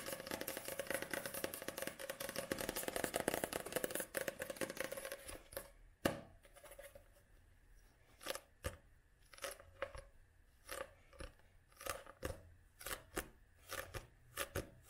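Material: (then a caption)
Card. Long nails tap and scratch the glossy card covers of a paperback book held at several angles. For the first five seconds there is dense, continuous scratching and rapid tapping with a mid-pitched tone. Then come sparse, separate sharp clicks that stop dead, with quiet between them.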